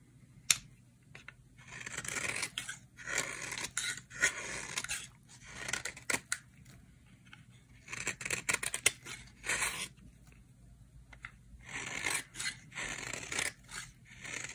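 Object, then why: Bar of soap scraped with a knife blade. A utility knife blade scrapes shavings off the edges of a dry, solid cream bar soap held in the hand. Bursts of crisp, bright scraping and shaving come in quick strokes, separated by short quiet gaps. The sound is dry, with almost no low end and no ring after each stroke.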